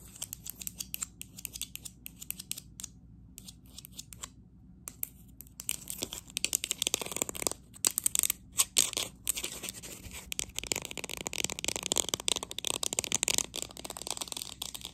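Long nails tap quickly all around the side of a green matte textured ceramic cup held in the hands. The result is a dense stream of sharp, dry, bright clicks with almost no ring or low end. The taps are sparse at first, nearly stop for a moment, then grow louder and more constant through the rest of the clip.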